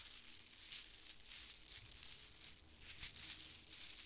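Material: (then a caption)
Plastic. A clump of white plastic faux-pearl beads from a garland is held at the side of the microphone while fingertips grab and crunch them together. The result is a quiet, continuous, bright clicking and rattling crunch in overlapping bursts, with almost no low end.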